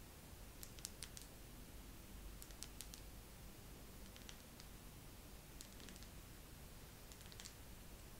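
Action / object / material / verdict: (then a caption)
tap / wax pillar candle / wax / none. A wax pillar candle is tapped slowly with long nails, giving light, bright clicking taps in small clusters spread across the clip. The taps sit over a quiet, steady low rumble.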